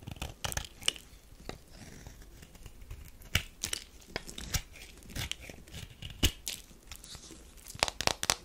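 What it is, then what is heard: Bar soap being scraped. A metal knife scrapes and shaves the edge of a thin slab of tan bar soap. Sharp, crisp scraping and crunching strokes come in bursts, bright and dry with almost no ring, over a faint low background.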